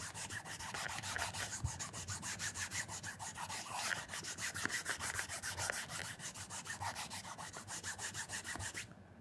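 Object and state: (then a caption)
Leather shoe being polished with a cloth. A black leather loafer with a wooden shoe tree is held in one hand while a cloth wrapped around the fingers of the other hand rubs and polishes the leather toe and vamp. Rapid, steady back-and-forth strokes make a soft, bright swishing scrape that runs throughout, then fades out at the end.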